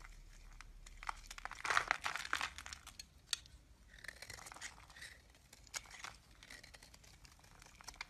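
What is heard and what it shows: A utility knife blade cuts and scrapes flakes off a hand-sized solid lilac bar of soap, and the pieces pile up on the table. It makes quiet, crisp, crinkly scraping with sharp bright clicks and short bursts of crunching, with brief pauses between strokes.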